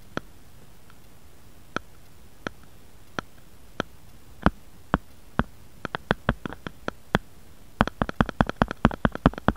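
Fingernails tap and scratch the back of a grey-beige plastic or silicone phone case with a bear print, lying flat on a wooden board. Short, dry, crisp clicks come slowly and sparsely at first, then grow louder and closer together. They finish in a quick, dense flurry of taps, each dying away almost instantly.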